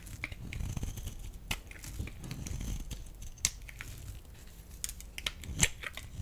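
A solid, rectangular, pale yellow bar of dry laundry soap is cut and scraped with a metal utility blade, breaking off crumbly flakes. Soft, gritty scraping and crunching continue over a low rumble. Sharp, bright cracks stand out at about 1.5, 3.5 and 5.6 seconds.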